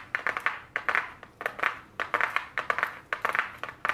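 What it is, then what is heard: Cardboard makeup palette box. Very long blue nails tap quickly on a small, flat white cardboard eyeshadow palette box held in the hands. The result is a steady run of dry, crisp clicks in irregular clusters, centered in the upper mids with a bright edge. Each tap dies away almost instantly, with no low thump.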